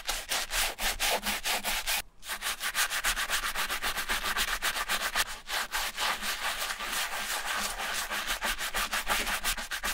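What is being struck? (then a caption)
Leather ballet flat scrubbed with a bristle brush. A bristle brush with a wooden handle scrubs the foamy silver leather upper and toe of an empty Repetto ballet flat. Rapid back-and-forth strokes make a bright, hissy scrubbing sound, with a brief pause near two seconds.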